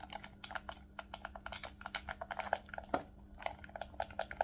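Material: Plastic.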